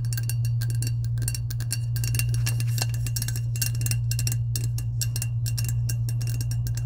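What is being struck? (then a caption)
Insulated powder-coated stainless steel tumbler. Long acrylic nails tap and scratch the coated side of a hollow, medium lilac, powder-coated insulated stainless steel tumbler with a clear plastic lid, held upright. Rapid, irregular bright clicks and scrapes run over a steady low hum that stays at an even level throughout.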